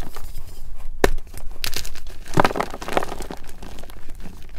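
Solid white MagKing gym chalk blocks (magnesium carbonate, palm-sized) are squeezed and crushed between fingertips and thumbs in a glass bowl, with several blocks of the same chalk nearby. Dry, gritty crumbling and crinkling run throughout, broken by a few sharper, brighter crunches as pieces give way.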